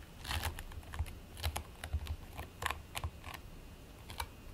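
Fingertips with short nails press, scratch and squish a flat patty of purple and white play foam made of polystyrene beads, lying on a white plate. Irregular bright, crackly bursts come as the beads shift and pop under the fingers, each one short and dry over a low, steady rumble.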